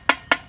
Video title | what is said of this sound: Chậu rồng xưa, Bình bông gốm Nam bộ GLTQ ngày 10/6 - Thanh Triệu | gõ chỗ nứt là nghe tiếng nó khác liền